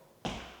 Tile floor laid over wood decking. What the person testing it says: This floor has been built up and you should be able to hear it. It's hollow.